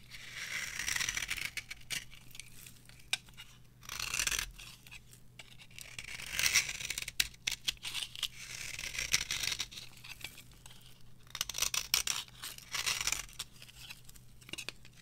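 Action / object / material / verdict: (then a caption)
scrape / bar of soap scraped with a small metal blade / soap / none. A small metal blade carves and scrapes thin curls from the surface of a cream-colored, palm-sized rectangular bar of dry, varnished soap held in the palm. It makes bursts of bright, dry scraping and crackling in close succession, with quiet pauses between the strokes.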